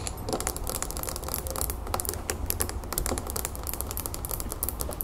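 Long fingernails on both hands tap fast on the sides of a small clear glass planter filled with soil, pebbles and a succulent, standing on a wooden table. A steady stream of quick, bright, clicky taps dies away almost instantly, over a constant low hum.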